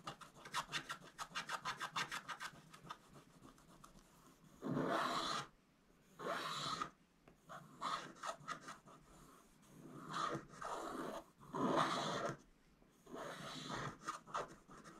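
A wooden stylus scratches the black coating off a thin, flat coated scratch-art card around a digger bucket, while the other hand holds the book. It opens with a quick run of short, dry scratching strokes, then moves to longer, louder rasping sweeps with bright, hissy texture, separated by brief pauses.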